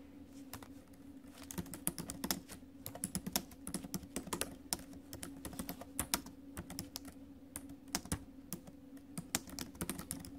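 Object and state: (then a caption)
Laptop keyboard being typed on. Fingertips and acrylic nails tap the plastic keys of a silver metal-bodied laptop keyboard during steady typing. Dozens of short, sharp clicks and clacks ring out quickly, with bright tapping at the tips. A steady low hum sits underneath at about 210 Hz.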